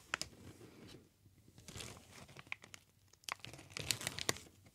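A large green plastic air cushion packaging sheet with inflated cells is crinkled and squeezed by hands. Its soft, bright crinkling rustle is broken by sharp, high snapping crackles that stop almost instantly.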